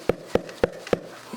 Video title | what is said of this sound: Making Sourdough Bread | when you tap the bread nice and Hollow sound